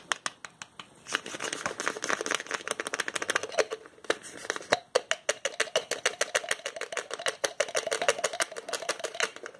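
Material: Plastic.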